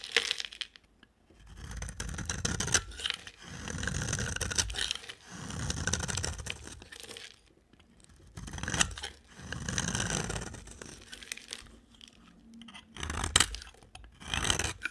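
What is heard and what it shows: A utility knife blade shaves and scrapes a solid, dry, bright-green rectangular bar of soap in repeated slow strokes. Each stroke swells into a gritty, crunchy scraping sound with a low rumble and a bright, crisp, tearing texture, broken by short sharp clicks and brief quiet pauses between passes.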